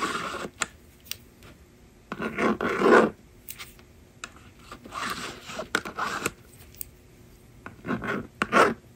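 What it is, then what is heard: Plastic magnetic drawing board being scratched. A yellow plastic stylus scratches and writes across the honeycomb screen of a small, hollow blue and pink plastic magnetic drawing board lying flat on a table, while the other hand holds the slider. Raspy, scratchy strokes come in short bursts, separated by quiet pauses and light clicking taps.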